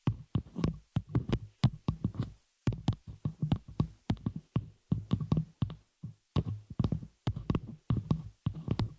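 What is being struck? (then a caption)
Metal microphone shock mount. Long fingernails on both hands tap and scratch the hollow open frame of a small metal spider-cage shock mount holding a microphone. The result is a rapid, irregular string of short, dry taps with a deep, thumpy low body around 117 Hz and brief bright clicks on top. Each tap dies away almost at once, with short pauses between clusters.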